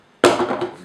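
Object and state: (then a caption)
Hard epoxy-coated cardboard nose cone. A hand-sanded, smoothed rocket nose cone made from cardboard airframe tube hardened with epoxy is tapped once, giving a sharp, hard knock with a brief tonal ring around 355 Hz that fades within about half a second. Though it is made of cardboard, the epoxy makes it sound like plastic when hit.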